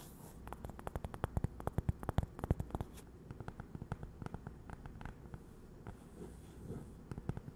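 A small, thin, solid cork coaster shaped like a slice of toast and printed "GiGi" is held up in both hands and tapped and scratched with long acrylic nails. Quick, dry, soft clicks come in rapid bursts, densest in the first three seconds, over a low, muffled scratching rustle with no ringing after each tap.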